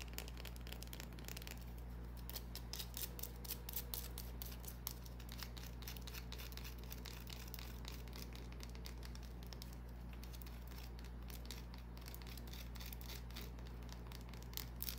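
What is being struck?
Small solid bar of soap.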